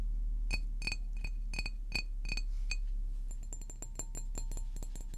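A large green glass water bottle is tapped with fingernails, first standing upright and then tilted. It gives quick, irregular clinks that ring at about 2.5 kHz, then turn to brighter, higher pings once the bottle is tilted. A steady low rumble sits underneath throughout.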